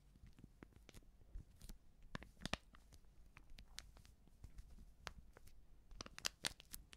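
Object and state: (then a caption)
Filled paper baking powder sachet. Long nails scratch and crinkle a small, filled Backpulver baking powder sachet made of coated paper. Quiet, dry crackles and scratches come in uneven bursts, with sharper, brighter crinkles standing out over a faint low background.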